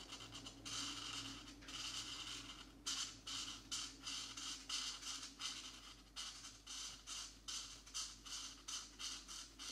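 A marker tip is dragged in short, quick scratching strokes across a thin coloring book page, filling in blue areas of a geometric pattern. Each stroke makes a dry, bright, papery rasp centered around 3 kHz, repeating irregularly at about two to three strokes per second over a faint steady low hum.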